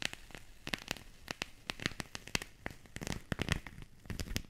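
A small, solid whole mandarin is held close to the microphones while its peel is scratched and torn off with long pink nails and fingertips. Dry, sharp crackling snaps and tearing rips come in a rapid, uneven series, each with a bright edge and a short low thump. Between them is a faint, quiet rustle.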